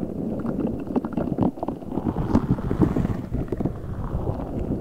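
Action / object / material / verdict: scrape / rubber spiky ball filled with water beads / rubber / none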